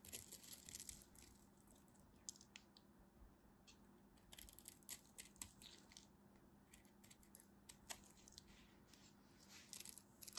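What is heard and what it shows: A solid blue-and-white striped bar of soap is cut and scraped with a craft knife while held with long white nails. Quiet bursts of crisp, bright scraping and crackling come in clusters over a faint, steady low hum.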